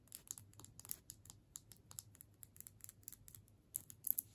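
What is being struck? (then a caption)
Candy cane in plastic wrapper. Long nails on the right hand tap along the shaft of a solid striped candy cane in a plastic wrapper, held in the left hand. A quiet, steady run of about twenty quick, dry taps is heard, each with a bright crinkly plastic tick and almost no ring, over a faint low hum. The last few taps land harder.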